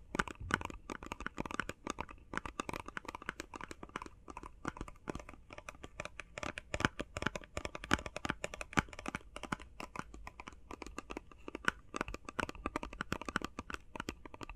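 Fast tapping on a face mask box made of plastic and cardboard. A dense, steady stream of quick, dry taps with a crinkly, papery edge, each one short and clipped with no ring. The taps run continuously throughout.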